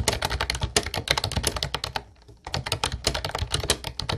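Both hands type steadily with their fingertips on a mint-blue plastic Ubotie retro typewriter-style keyboard with round white keycaps. A rapid run of bright, clacky keystrokes with a low thocky body pauses briefly near the middle, then resumes at the same quick pace.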